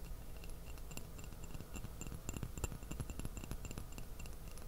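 An empty small white porcelain teacup with a purple floral print is held upside down in both hands close to the microphone while fingertips and fingernails tap its outside. A quiet, steady stream of light taps and short, bright clinks with a glassy high ring sits over a soft low rumble.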